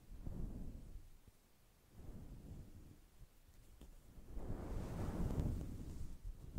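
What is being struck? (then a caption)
Synthetic fur microphone windscreen. A fist-sized, fluffy grey-white synthetic fur windscreen over a microphone is brushed and scratched with a black plastic fine-tooth comb held in the fingers, with combing strokes across the soft, fibrous fur. Three swells of deep, muffled rumbling and rustling are heard, with quieter gaps between them. The sound sits almost entirely in the low end, with nothing bright on top.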